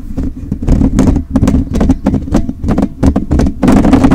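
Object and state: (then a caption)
Metal mesh microphone grille. Fingertips and short nails of both hands, held close, rapidly scratch a rounded, hollow metal wire-mesh microphone grille. The result is a dense run of quick, rough scratching bursts with bright streaks over a heavy low rumble and a steady hum-like tone around 280 Hz.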